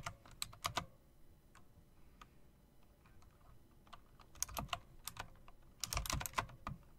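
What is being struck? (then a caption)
Typewriter-style mechanical keyboard with plastic keycaps. Fingertips with long nails tap the round plastic, metal-rimmed keycaps of a typewriter-style mechanical keyboard. Sharp, bright clicks come in quick bursts near the start and again in the second half, with softer scattered taps in between. Each click dies away almost at once.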